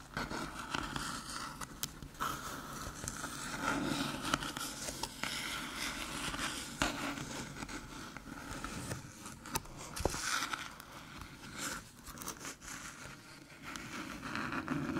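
Long, metallic-polished nails tap and scratch the top of a small, flat, hollow silver aluminium USB hub with three USB ports, a card slot and an attached cable, lying on a dark table. The result is a quiet, irregular stream of crisp clicky taps mixed with dry, crackly scraping, each tap dying away almost instantly with a light hollow tone.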